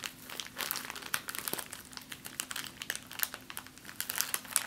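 A small, clear, empty plastic zip-lock bag is held above a table and crumpled with fingers and long nails. It makes a steady stream of bright, sharp crinkles and crackles that swell and fade in bursts, over a faint steady low hum.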